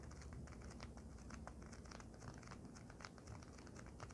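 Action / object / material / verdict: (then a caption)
tap / folded polyethylene foam sheet / polyethylene foam / none. A flat, folded white polyethylene foam packing sheet lying on a blanket is tapped rapidly with the long nails of both hands. The result is a quiet, steady stream of short, dry clicks with a soft crinkling texture over a low, muffled underlayer, each tap dying away almost instantly.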